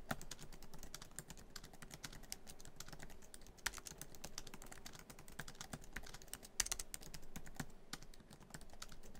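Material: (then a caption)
Plastic. Fingertips of both hands type quickly across a MacBook Pro keyboard, its black plastic keys set in a silver aluminum laptop body, a hollow device. A steady stream of short, bright plastic clicks and taps with a soft low thump underneath runs throughout, each keystroke dying away almost instantly, with a few sharper, louder strikes standing out.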